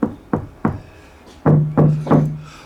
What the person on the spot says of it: thud, dull thud? Massive difference.